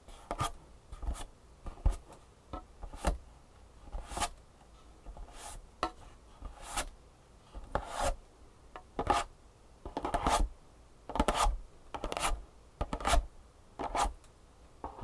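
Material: Cardboard.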